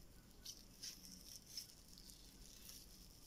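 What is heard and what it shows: Pink slime full of white foam beads lies flat on a table and is then picked up, as fingers and a hand squeeze and press the soft mass. Quiet, crunchy crackling of the beads comes in small bright pops and bursts over a soft, steady hiss.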